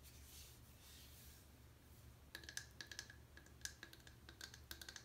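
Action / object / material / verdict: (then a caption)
tap / dry bar of soap tapped and scratched with long fingernails / soap / none. Long painted nails tap and scratch the surface of a solid, pale Irish Spring soap bar, unwrapped and dry and held in the palm. Soft, breathy scratching over a low hum gives way to a quick run of sharp, clicky taps with a short, bright tonal ping. Each tap dies out almost at once.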